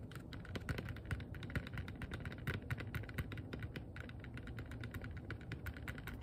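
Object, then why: Small rigid plastic box. A small, hollow, transparent rigid plastic box that appears empty is held in both hands and tapped rapidly with long nails and fingertips. Quick, sharp clicky taps with bright edges and almost no ring follow one another in a steady patter over a low, constant rumble.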